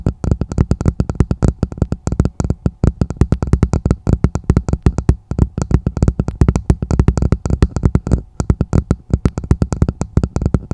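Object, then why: Plastic martini glass. Long nails and fingertips tap and scratch quickly on the bowl of a hollow, empty red plastic martini glass set upside down over the microphone. The result is a dense, steady stream of short, muffled, low thuddy taps with almost no ring, and faint scratchy clicks between them.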